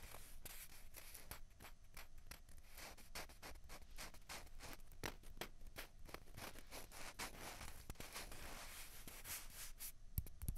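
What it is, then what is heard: Plastic ping pong balls tapped and scratched. Two small, hollow, white plastic ping pong balls, one held in each hand, are scratched and tapped with long fingernails. The result is a steady run of quiet, dry, bright scratching and rubbing with quick, crisp taps scattered throughout.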